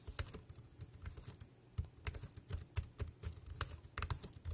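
Fingertips type quickly on the round keys of a dark grey plastic wireless keyboard resting on a plastic sheet. A rapid, uneven run of short clicks each carries a soft low thump and a bright, dry tick that dies away almost at once.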